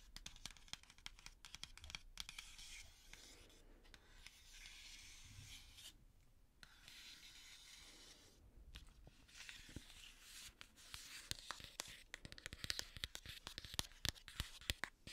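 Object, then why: Flat printed cardboard box. Long manicured nails scratch and tap the flat printed cardboard box of a Scooby-Doo makeup palette, giving a dense run of bright, dry clicks and raspy scraping with almost no ring. Busy bursts of sharp taps open and close the clip, while the middle holds softer, steadier scratching broken by brief pauses.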